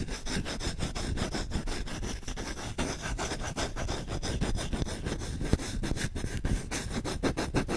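Short-nailed fingertips scratch fast and aggressively across the bowl of a solid wooden spoon with visible rings. A dense, continuous rasping texture of rapid scrapes fills the clip at a steady level, with a heavy low-end weight and a few sharper bright strokes.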